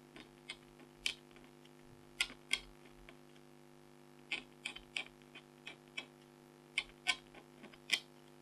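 A red-handled stylus scratches short strokes across a flat, thin, black-coated foil scratch art card while the other hand steadies the sheet. Thirteen brief, dry, bright scratches sound at uneven intervals, each with almost no ring and centered around 3 kHz. A faint steady hum runs underneath.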